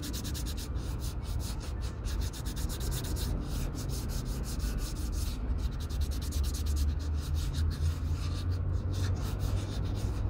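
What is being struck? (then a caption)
Leather cowboy boot rubbed with fine sandpaper. Fingertips rub fine white sandpaper along the toe and vamp of an empty leather Red Wing Pecos 9801 cowboy boot, sanding it. A steady, low, dull rubbing scratch repeats in quick back-and-forth strokes, with faint bright grit on each pass, at an even level throughout.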